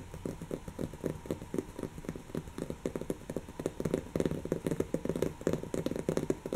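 Long natural fingernails of both hands rapidly scratch a brown, textured woven-fabric cushion that is soft and stuffed. The result is a dense, continuous run of quick, dry scratching strokes with a soft, muffled low-mid body and crisp high edges, growing slightly louder toward the end.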